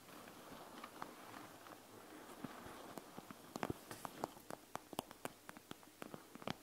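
Long nails on both hands scratch and tap the plastic front of a panda gel bead eye mask filled with gel beads. A soft, rustling scratch fills the first half, then it gives way to a series of quiet, crisp, dry clicks from the taps that stop instantly with no ring.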